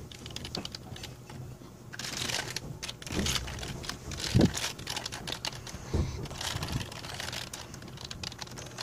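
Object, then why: Plastic membrane computer keyboard. A full-size black plastic A4Tech membrane keyboard with a hollow plastic body, lying on a blue patterned mat, is typed on rapidly with the fingertips of both hands. Quick, soft plastic taps patter continuously, with short-lived clicks and a dull low thump to each press. A few louder, heavier strokes stand out from the steady run of keystrokes.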